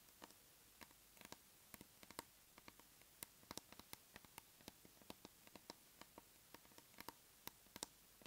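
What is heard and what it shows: A large round plastic tub of aloe soothing gel, held in both hands, has its lid tapped with long nails. About 34 quiet, sharp, bright clicks fall in an irregular patter over roughly eight seconds, each dying away almost instantly against a soft hiss.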